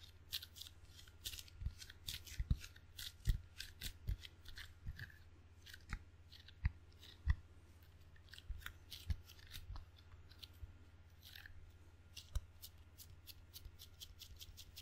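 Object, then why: Table tennis paddle, rubber face on wooden blade. Fingertips pat and peel off the sticky rubber face of a table tennis paddle with a solid wooden blade, held edge-on near the mic. There are quick, bright sticky ticks and soft pats in an irregular rhythm, with a few sharper snaps standing out. A steady low hum runs underneath throughout.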